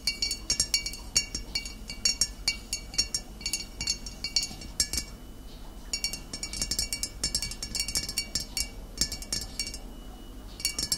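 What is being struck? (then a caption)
Glass bottle of cider vinegar. Long nails tap the shoulder of a full, upright glass bottle of cider vinegar in quick, irregular bursts. Each tap is a bright, high clink with a very short ring, separated by brief pauses over a low, quiet background.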